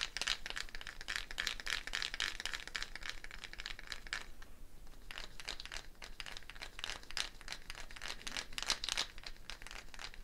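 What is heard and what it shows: A hollow dried gourd shaker with a net of wooden beads is held up and shaken or rotated, the beads rattling against the shell in dense, bright, crisp bursts. The rattling thins to a brief near-pause around the middle, then resumes just as busily, each tick dying away almost instantly.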